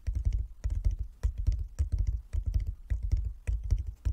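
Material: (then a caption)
Wood. Fingertips of both hands tap rapidly on a flat wooden chess board with light and dark inlaid squares. The taps land in quick, uneven bursts of soft, dull, low thuds that stop almost instantly, with faint brighter clicks above.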